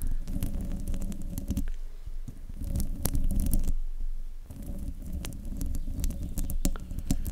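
Long nails of both hands scratch across the hollow metal mesh grille of a silver desktop microphone. The result is a dense, rumbling scrape heavy in low boom, with sharp crackling ticks scattered through it. Two brief quieter gaps break the scratching partway through.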